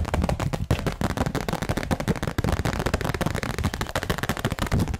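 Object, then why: Thin plastic sheet. A thin, clear, transparent plastic sheet is held in front of the mic, flexed, shaken and snapped, while long nails grip and tap its edges. The result is a dense, fast, irregular run of sharp crackles and pops with a heavy low thump and quick decays, almost like rapid gunfire.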